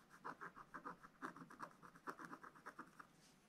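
A wooden stylus scratches repeated strokes across a black wax-coated scratch-art card in a spiral book. Sixteen short, dry scraping strokes come in a quick irregular rhythm, each a raspy burst centered around 1 kHz with a faint bright edge. The strokes end quickly with almost no ring.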